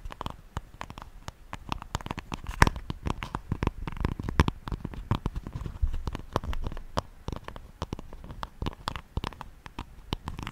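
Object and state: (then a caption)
Wooden hairbrush. Long manicured nails tap and scratch the wooden back of a flat, light-coloured solid wooden paddle hairbrush held behind the microphone. Rapid, close, dry clicks and scrapes pile up in a dense, uneven stream. The sound is low and muffled, with bursts of short, sharp taps that die away instantly.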